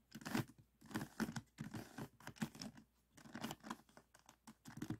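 A small, solid, stickerless plastic 3x3 Rubik's cube on a table is held in both hands while fingertips turn its top layers. It produces quick bursts of soft plastic clicks and scraping turns with brief pauses between them.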